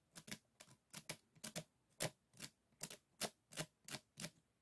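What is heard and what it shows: Fingernails flick and scratch across the bamboo rib edges of a closed, folded hand fan, giving 16 short, dry clicks in an uneven rhythm, some in quick pairs. Each click is bright and crisp with a faint low body and almost no ring.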